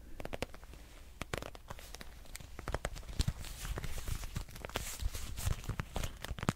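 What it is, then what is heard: Patent leather wallet tapped and scratched. A dark red glossy patent leather wallet with a metal clasp is tapped and scratched with fingernails. Many quick, dry clicks and scratchy taps ring out, some sharp and bright, over a low rumbling background, with no ringing after each hit.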